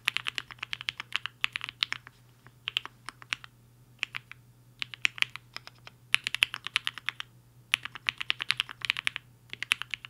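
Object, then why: Mechanical keyboard with plastic keycaps. Fingertips of both hands type fast on a compact HI-FINGER 7.5 mechanical keyboard with a black case and white and pink plastic keycaps, resting on a desk mat. Rapid bursts of short, bright plastic clacks centred near 2.7 kHz come in quick runs separated by brief pauses. A faint steady low hum sits underneath.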